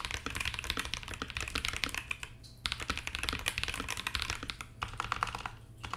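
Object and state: Mechanical keyboard being typed on.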